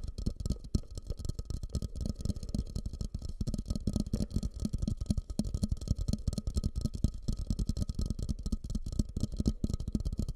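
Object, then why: Upturned glazed ceramic bowl. Fingertips and nails tap and scratch the outer surface of a medium, fluted, glossy orange glazed ceramic bowl, held upside down over the microphone, hollow and empty. A fast, steady stream of deep, hollow, muffled thumps fills the clip, with faint scratching between the taps and a thin steady tone in the background.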